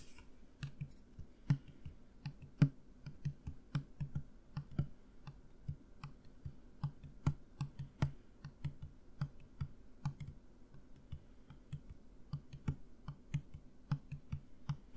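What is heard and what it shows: A plastic mouthwash bottle filled with liquid is held tilted in one hand and tapped with the fingertips and nails of the other hand. About 46 quiet, dull, low taps with a hollow thud near 145 Hz come in a steady, uneven rhythm over 15 seconds. Occasional sharper nail clicks add a brief bright tick, and each tap dies away almost at once.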